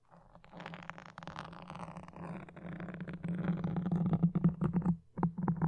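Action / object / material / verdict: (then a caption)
scrape / foam microphone windscreen scratched with wooden toothpicks / foam / none. Wooden toothpicks, held in both hands with long dark nails, scratch a black foam windscreen on a red microphone. A steady, muffled scratching rustle with a low hum builds gradually louder. Toward the end it breaks into choppier, more separate scrapes, with a brief pause just before the close.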